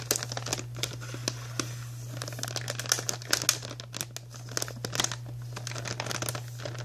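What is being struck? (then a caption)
Plastic snack bag. Long nails scratch, tap and crinkle the surface of a white printed plastic Archway cookie bag held up close. Dense, bright crackling rises and falls with sharp clicks scattered through it, over a steady low hum.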